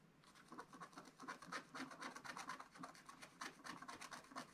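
A wooden stylus scratches and rubs across the black coating of a scratch-art card page in a spiral book. Rapid, repeated dry strokes rasp with a scratchy tone centered near 1 kHz and bright hiss above. Each stroke dies away almost immediately, with no ring or low end.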